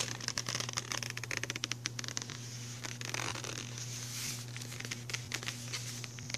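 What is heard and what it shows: A small, flat, printed cardboard box holding a General's MultiPastel pencil set is held in one hand while the other hand's fingertips and short nails tap and drum on its hollow front, with the pencils inside. The result is a dense run of quick, crisp, bright clicks and scratchy taps over a steady low hum, briefly settling into a softer rustle midway before the drumming picks up again.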